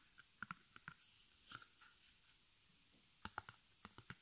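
Fingertips and long nails tap and scratch the front of a small, square, white stretched cotton canvas, fabric over a hollow wooden stretcher frame, with black embroidered arrows, held in the hand. Sharp, dry clicks with a hollow mid-range ring come in bursts near the start and end, with softer scratchy, bright rustling strokes between them.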